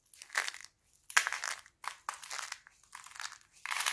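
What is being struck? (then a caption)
Thin laundry soap sheets. Thin, brittle sheets of dried red and green laundry soap are crushed in fists and broken by fingers into flakes. Short bursts of dry, crisp crunching and crackling alternate with brief silences. The sound is bright, with no low rumble.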